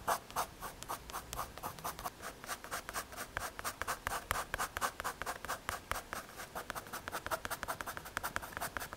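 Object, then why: MDF or hardboard panel. A pencil tip scratches and shades the surface of a small, solid, square brown MDF or hardboard panel held between the fingers. Dozens of quick back-and-forth strokes make a steady, dry, bright rasping, each stroke short with almost no ring.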